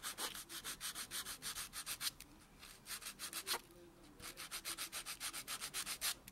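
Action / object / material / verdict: scrape / natural fingernail rubbed with a foam buffer block / keratin / none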